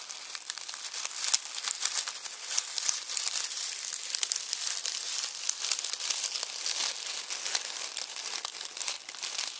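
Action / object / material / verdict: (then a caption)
scrape / onion skins in a plastic mesh bag / onion skin / none. Fingertips crumple and rub dry onion skins through a red plastic mesh bag resting on a bamboo board. A dense, steady stream of crisp, bright crinkling and crackling fills the clip with many small overlapping snaps and almost no low end.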